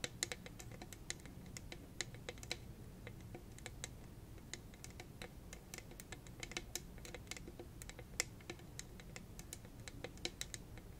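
Long red acrylic nails tap and scratch quickly on a hollow, purple, rhinestone-studded cylindrical tumbler. Dense, sharp, bright clicks that stop almost instantly fall in a rapid, irregular patter over a steady low rumble and soft hiss.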